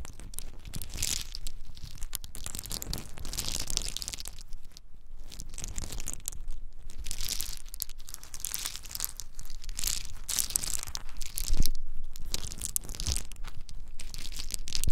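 A handful of small, hard-shelled whole pine nuts is rubbed and poured between bare palms. The result is a dense, continuous rattling crunch of shells clicking and grinding against each other, with bright, crisp texture that swells and thins in waves, plus one sharper clatter near the end.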